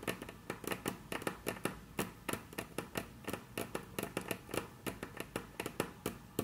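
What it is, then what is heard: Wooden tabletop tapped with fingernails. Very long, curved natural nails tap and trace across a flat, solid, dark brown wood-grain tabletop, possibly wood veneer or laminate. About 29 quick, dry clicks land in an irregular rhythm, each with a short, bright snap and almost no ring. Soft scratchy tracing noise fills the gaps between them.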